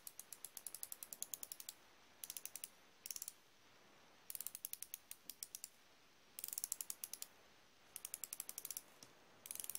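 A thumb turns the ratchet ring of a solid chrome steel flexible-head ratchet wrench, producing rapid, dry pawl clicks in several short bursts separated by brief pauses. The clicks are sharp and bright with almost no ring, about fifty in all.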